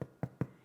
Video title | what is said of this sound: Irish Soda Bread - No Knead - No Rise - 4 Ingredient - 1 Hour Bread - EASY | if it sounds hollow, then you know that your loaf is cooked all the way through and it's done